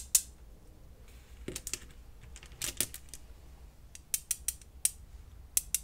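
Small, solid, flat-backed blue glass gems are held in the fingertips and clicked and rubbed against each other above a pile of the same gems resting on bubble wrap. About a dozen sharp, bright glassy clicks with almost no ring stand out over quiet rubbing and faint rustling.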